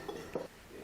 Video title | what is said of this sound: 广东这家大排档只在凌晨11点开业，新鲜猪杂上场1分钟就被瞬间抢光，竟是靠老板30s的超绝厨技！ | With a click, the shell cracked